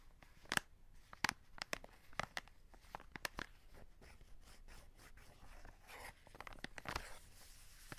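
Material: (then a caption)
Cardboard, plastic. Fingertips scratch and rub the plastic window of a full cardboard chocolate box over the wrapped chocolates. Sharp, crisp crinkling clicks and scrapes come in quick bursts, and the strongest sit early in the clip. Between them runs a soft, steady rustling.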